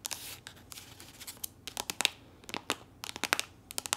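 Long nails tap and scratch along the surface of a soft, squeezable plastic body lotion tube that appears full. The result is a quiet, irregular run of sharp, bright clicks and crisp, papery scratching rasps with almost no low end and no ring after each tap.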